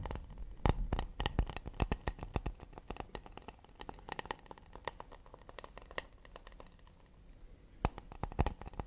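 Fingers tap fast and delicately on an acacia wood plate, making quick, irregular, dry clicks that fade almost instantly over a low, soft thump. The tapping thins out into a quieter stretch before a few sharper, louder taps near the end.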